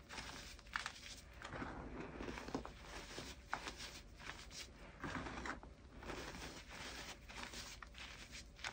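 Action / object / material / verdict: scrape / crushed gym chalk powder and crumbs / chalk / none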